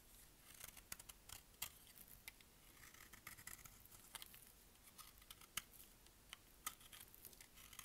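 A utility blade scrapes and shaves the surface of a solid, dry green bar of soap held in the palm. The sound is a quiet, bright, crisp scraping with many short, sharp ticks and crackles scattered irregularly throughout, with almost no ring.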